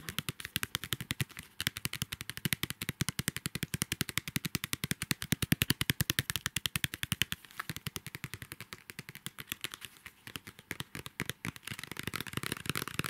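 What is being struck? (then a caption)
Paper craft pad with card cover. Long nails tap rapidly and steadily on the glossy card cover of a square pad of patterned craft paper, making a fast train of sharp, dry clicks with bright edges and no ring. Toward the end, the tapping gives way to rougher scratching, adding a brighter, hissy texture.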